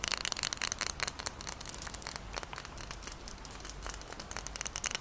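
Long nails scratch the paper label of a glass Moccona coffee jar full of granules and tap on the glass while the jar is tilted and held up. A dense, bright, crinkly scratching runs throughout, dotted with quick, sharp clicks that die away at once.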